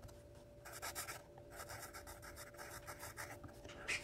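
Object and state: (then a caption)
Pencil writing on a paper notepad. A yellow wooden graphite pencil held in the hand writes across the page of a small lined paper spiral notepad with a red cover lying flat on a wooden table. It gives quiet, bright, dry scratching strokes in short bursts, with a faint steady hum underneath. The last stroke is the loudest.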